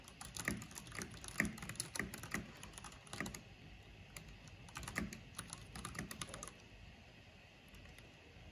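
Fingertips with long painted nails type rapidly on a full-size backlit mechanical keyboard with black plastic keycaps on hollow switches, pressing and clicking the keys. Bursts of sharp, bright clicks with low, hollow thumps come at an uneven pace, then the typing thins out and goes quiet near the end.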